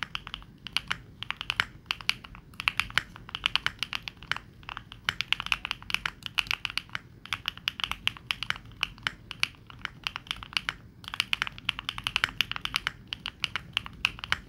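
A 65% mechanical keyboard with dark and pink plastic keycaps is typed on with fingertips in rapid bursts of key taps. The clacks are short, bright and dry with almost no ring, and they come in steady streams broken by brief pauses.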